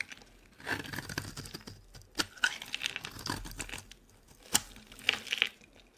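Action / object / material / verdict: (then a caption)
scrape / bar of soap scraped with a metal blade / soap / none. A metal blade scrapes fine shavings off a solid green olive bar soap held in the hand, giving dry, bright scratching and crinkly tearing sounds in uneven bursts. Several sharp clicks stand out, with quiet gaps between the strokes.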